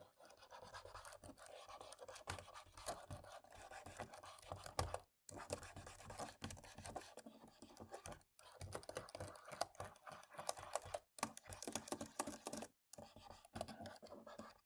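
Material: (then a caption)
Plastic. A cotton swab scratches along the gaps between the top-row keys of a black plastic laptop keyboard. The sound is a quiet, continuous dry rasping full of small ticks and clicks, broken by a few brief silences as the swab is lifted and moved.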